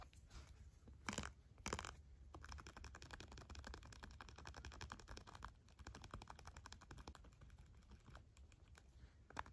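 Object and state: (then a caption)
Textured plastic on a board book, scratched. A red pen, held in a hand with long black nails, scratches and rubs across raised textured plastic bumps on the wings and body of a flat children's sensory bat board book with cardboard pages. A rapid, continuous stream of dry clicky ticks and scratches runs throughout over a low background rumble, with a few louder, brighter rasping bursts near the start and at the end.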